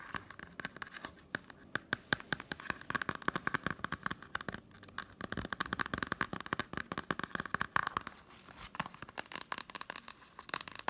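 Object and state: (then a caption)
Blu-ray case with cardboard slipcover. Fingernails rapidly tap and scratch along the spine edge and front of a small, hollow green and blue Totoro Blu-ray case in a cardboard slipcover. The result is a dense stream of dry, crisp clicks and papery scratches, with a bright midrange tone, little low end and no ring after each tap.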